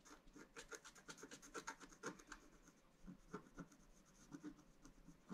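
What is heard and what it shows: A wooden stylus scratches small stars and dots into the black coating of a scratch-art card lying flat on a table. About twenty short, dry scratching strokes come in quick irregular bursts, each with a bright rasp and a quieter midrange scrape that stops almost instantly.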